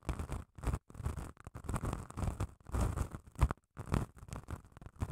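Long nails scratch the abrasive face of a small grey, grit-coated solid foam nail buffer block held close to the mic. Short, irregular bursts of rough scraping and crunchy rasping come in quick succession with brief silent gaps. The sound has a heavy low close-up rumble under a faint bright hiss.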